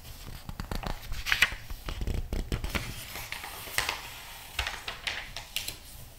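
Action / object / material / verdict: scrape / glossy paper magazine / glossy paper / none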